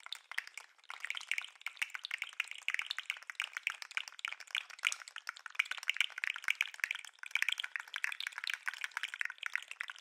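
A segmented plastic articulated lobster fidget toy is held up beside the microphone and shaken and wiggled by hand. Its segments give a rapid, continuous stream of sharp, dry clicks for the full ten seconds, with brief dips near the 1 and 7 second marks. The clicks are bright and crisp, centered around 2.4 kHz with no low end and almost no ring.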